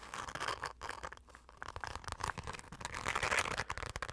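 Long acrylic nails and fingertips scratch and tap fast across the surface of a dark, glitter-covered fabric zip pouch held close. The result is a dense, irregular stream of bright, crinkly scratches and short taps with little low end.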